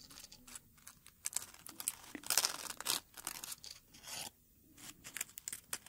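A single dried dark red rose on its stem is pinched and crinkled with fingertips. Its brittle petals give off dry, bright crackling and rustling in short bursts. Louder stretches of crunching come in the middle, broken by near-silent pauses.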